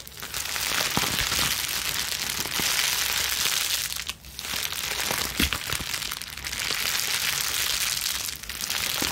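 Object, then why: Plastic bubble wrap sheet. A crumpled wad of plastic bubble wrap is squeezed and scrunched in both hands with long nails. The result is a dense, continuous bright crinkling and crackling with scattered sharp pops. It dips briefly near the middle and again near the end.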